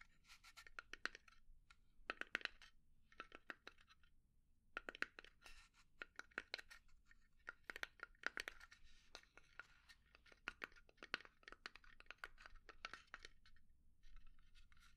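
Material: Pine wood.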